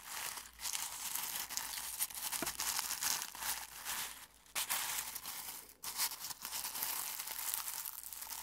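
Fingertips crush and rub brittle dried rose petals in a clear glass bowl. A dense, bright crinkling and crackling runs almost continuously, with almost no low end and brief quiet dips around 4.5 and 5.8 seconds.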